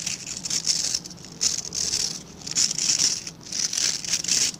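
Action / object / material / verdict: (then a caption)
scrape / plastic scrub brush with synthetic bristles / plastic / none. Fingertips and nails scratch the dense dark synthetic bristles of a hand-sized plastic-backed scrub brush. The scratching comes in rasping, bright bursts that swell and fade, with almost no low end. There are brief quieter gaps between strokes.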